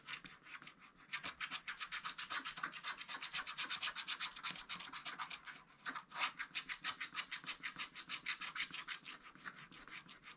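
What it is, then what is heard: Scratch-art paper being scratched. A wooden stylus scratches the remaining black coating off a wax-coated scratch-art book page lying flat on a table, using rapid short strokes. The result is a steady run of dry, bright, high scratching rasps with almost no low end. There is a brief pause near the six-second mark, then a louder stroke before the rhythm resumes.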